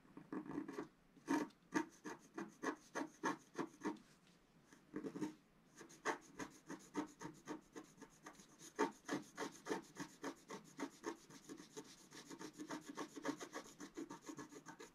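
A wooden stylus scrapes the coating of a flat black-coated scratch-art card in quick, repeated strokes. Each stroke is a short, dry, raspy scratch with no ring, centered in the low-mids with a faint bright edge. The strokes come in rapid bursts separated by brief pauses.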